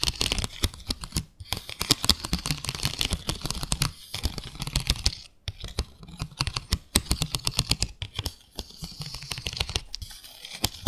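Long acrylic nails tap quickly on a small, flat, transparent plastic plate with parallel grooves. The result is a dense run of short, crisp clicks with almost no ring, interrupted by a few brief pauses.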